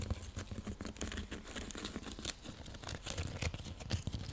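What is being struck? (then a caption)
Woven seagrass coaster. A round, flat, coiled woven seagrass coaster, or straw trivet, is tapped and scratched with long nails. It gives a steady run of dry, crinkly scratching and quick soft taps, with low thumpy body and bright rustling edges. Each tap dies away almost at once.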